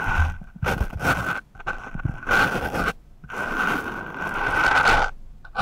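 The sharpened tip of a wooden pencil scratches and rubs across a dark, soft, porous foam microphone windscreen. It makes bursts of rough, crackling scraping, with a steady whistling tone near 1.5 kHz running through the louder strokes. Brief quiet gaps fall between them.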